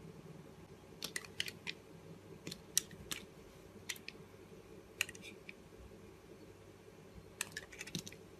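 A utility knife blade shaves thin curls off a blue Arko solid soap bar held in the hand. Short, crisp, bright scraping clicks come in scattered bursts and stop instantly, over a quiet low background hum.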